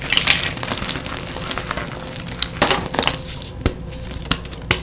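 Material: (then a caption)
Chalk. A solid, brittle pale green-white reformed gym chalk block, broken into chunks, is crushed and squeezed between bare fingers and palms, shedding powder. Dry, bright crumbling and crackling runs throughout, with a string of sharp snaps standing out above the steady crunch.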